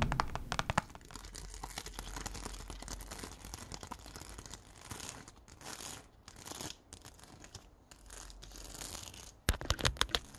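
Fingertips and nails scratch and tap across a small flat sheet of yellow and clear plastic rhinestones on a plastic backing, held in the palm. Dense, bright scratching and crinkling rasps run throughout, with sharper rapid clicking taps at the start and again near the end.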